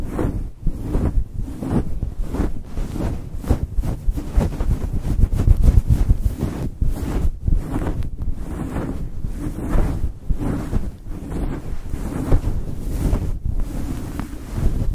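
Fingertips and nails from both hands quickly scratch and rub a fluffy synthetic faux fur windscreen covering a microphone. The result is a dense, continuous low rumbling and muffled scratching with rhythmic swells, almost all of its energy deep in the bass and no bright content.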